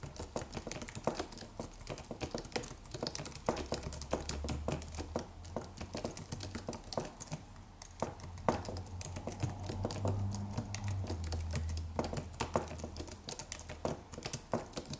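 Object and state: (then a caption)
Aluminium and plastic wireless keyboard. Fingertips of both hands type rapid taps on a slim white Apple-style wireless keyboard with an aluminium body and white plastic keys. The result is a dense, steady stream of short, crisp clicks with quick decay over a low, steady hum.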